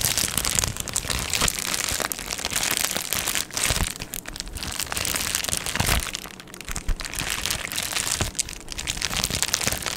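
A medium-size, hollow Amazon Prime padded plastic mailer is held in both hands while long nails scratch and tap across it. A steady, bright crinkling and scratching texture runs throughout, with many quick dry taps and brief quieter moments along the way.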